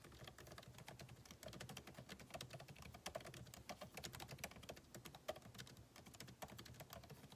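Fingertips type continuously on a backlit MacBook Pro keyboard, with plastic keycaps set in an aluminum body. The result is a dense, steady stream of quick, dry key taps, each with a short bright click over a soft low thud. The taps run too close together to count.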